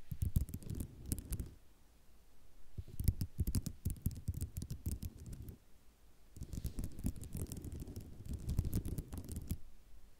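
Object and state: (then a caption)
Ceramic mosaic tile sheet scratched with nails. Long nails scratch across a white ceramic mosaic tile sheet in three bursts of dense, rapid clicking and scraping, separated by short quiet pauses. The sound is soft and low-heavy, with sharp little ticks that stop dead with no ring.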